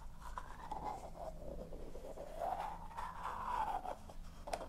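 A small, hollow, apparently empty yellow plastic container with a lid is held in the hands as the lid is opened and closed and rubbed with long nails. Soft, continuous scratchy rubbing rises and falls in pitch around 700 Hz, with a faint steady low hum underneath and a brief brighter tick near the end.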